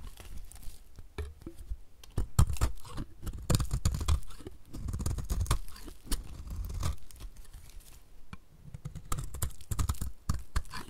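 A utility knife blade scrapes shavings off the surface and edges of a solid, oval, dry pink bar of soap held in the hand. The result is a dense run of short, dry scratching and crumbling strokes that are heavy in low rumble and have little brightness. The strokes come in bursts with brief pauses between them.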